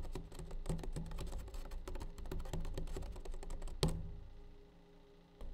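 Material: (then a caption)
Hard plastic. Fingertips and nails tap quickly on the side and lid of a clear, hard plastic tub of blue nitrile gloves, which is hollow and partly full. The taps sound like dull, hollow thuds with a low resonant tone. A sharper, louder tap near the end rings briefly and fades into quiet before one last light tap.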